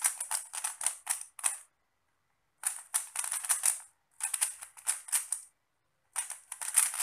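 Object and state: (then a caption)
Plastic puzzle cube being turned. A small solid 3x3 plastic Rubik's cube with pastel stickerless tiles is held in both hands while fingertips twist its layers. Rapid bursts of bright, dry clicking turns come in four clusters, separated by short silences.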